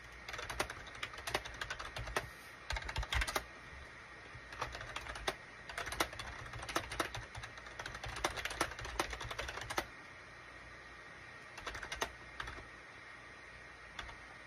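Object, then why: Plastic computer keyboard. Fingertips type on a full-size gray and cream SHIPADOO K600 wired USB keyboard with a hollow plastic case, resting on a desk mat. Bursts of quick, dry, bright plastic key clicks come in rapid runs for the first ten seconds. The typing then thins to a few scattered taps over a quiet, steady background.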